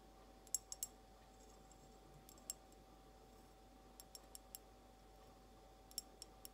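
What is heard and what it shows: Long almond-shaped nails slowly tap an empty, hollow, clear glass mason jar held sideways, making eleven quiet, bright clicks in loose clusters. Each tap dies away almost at once over a faint, steady background hum.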